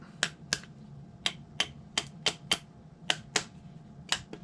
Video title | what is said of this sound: carbon fiber bellcrank demold | you can usually hear it break loose